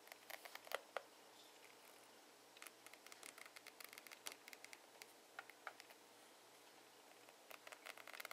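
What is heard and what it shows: A fingernail scratches along the ridges of a ribbed rubber grip on a plastic hairbrush handle, recorded close up. Quiet, dry, crisp ticks and scratchy clicks come in irregular bursts, with brief lulls between them and no low rumble.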